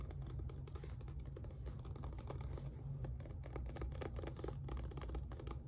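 A small, apparently filled white plastic squeeze bottle of acrylic paint with a black cap is held in both hands while fingertips and nails tap and scratch along its sides. Quick, soft clicks and scratches run continuously over a steady low hum that carries most of the energy. The level stays fairly even throughout.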